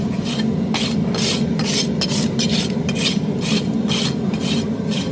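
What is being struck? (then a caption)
Horse hoof wall (keratin horn) under a steel rasp. A steel farrier's rasp is pushed along the outer wall of a horse's hoof, which is solid keratin horn, while the hoof rests on a metal hoof stand. Repeated filing strokes make bright, gritty scraping bursts over a steady low hum that stays level throughout.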